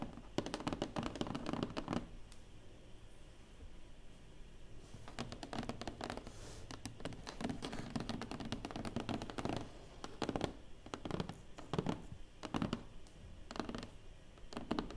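Long nails tap and scratch on the closed lid of a large, hollow black cardboard award box. The result is a quick run of short, dry taps and scratchy strokes with little ring, a low hollow thump under each hit, and a pause around four to five seconds before the tapping picks up again.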